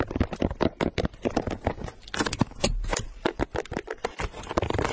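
A single pink low-top leather sneaker with a gum rubber sole and a price tag attached is held in one hand while long pink nails scratch its perforated leather upper and toe. About twenty-two quick, dry scratching and tapping strokes follow one another in an uneven rhythm, with no ring after each stroke.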